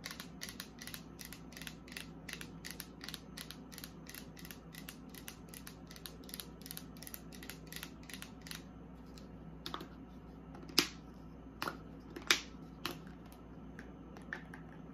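Long acrylic nails tap and scratch the sides of a hand-held frosted plastic facial spray bottle with a pump top, partly full of liquid. Quick, bright, dry clicks come in a steady run for the first nine seconds, then thin out into a few sparser, louder taps. A faint low hum runs underneath throughout.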